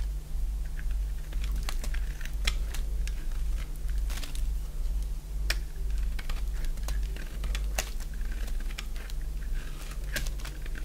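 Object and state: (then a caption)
Dry bar soap being carved. A solid oval bar of dry white soap held in the hand is shaved with a box-cutter blade, peeling off thick curls. Rapid, crisp scraping and cutting clicks repeat throughout over a steady low hum.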